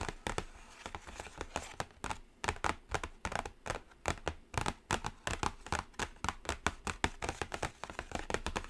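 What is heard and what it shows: Long blue acrylic nails tap the lid of a closed, large, thin, flat black cardboard eyeshadow palette (BPerfect Carnival) lying on a glittery table. The result is a rapid, uneven stream of short, dry clicks with a faint scratchy texture and no ringing tail.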